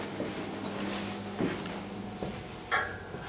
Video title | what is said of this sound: Ghost Searchers Ireland.. Enniscorthy Castle. | take my ring and tap it off the handrail, you hear sounds like this